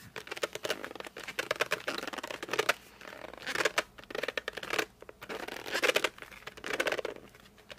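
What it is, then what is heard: Cardboard colored pencil box. Fingertips grip and drag across the glossy front of a flat cardboard colored pencil box, producing rapid bursts of squeaky, scratchy friction. The squeaks come in dense, uneven clusters with short pauses between them, carrying bright high-frequency texture and a mid-range squeal near 500 Hz.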